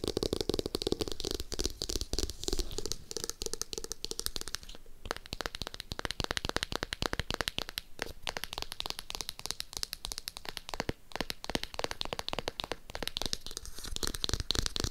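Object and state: Hardcover notebook.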